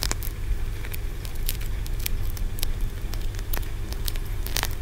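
Fingernails scratch and tap along the stacked ridges of a solid green aventurine stone pagoda about 10 cm tall. The result is a steady run of dry, crackly clicks and scratches with bright, sharp edges over a constant low hum near 74 Hz.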